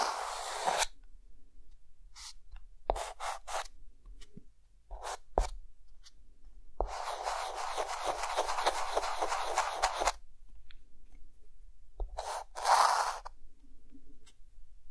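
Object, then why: Chalk stick on a slate chalkboard. A hand draws a camera with a white chalk stick on a green chalkboard, making dry scratching strokes. Short bright scrapes and taps give way to a long, steady rasping stretch of rapid back-and-forth strokes, then a few final sharp scratches.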